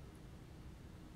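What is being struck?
Nothing is struck.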